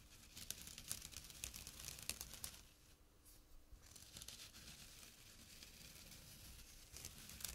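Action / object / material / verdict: scrape / jute burlap drawstring pouch / jute / none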